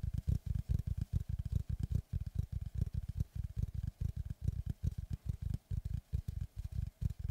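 Both hands tap rapidly with fingertips and nails on the flat face of a large, solid-wood oval slice of tree trunk with its bark edge still on, held upright behind the microphone. The result is a dense, uneven stream of short, deep, hollow thuds with almost no ring and very little brightness.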